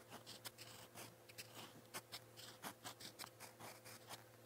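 A gold-toned metal fountain pen nib scratches across a lined white page of a spiral notebook while writing purple Korean letters. Quiet, bright, scratchy strokes come in short, irregular bursts over a faint, steady low hum.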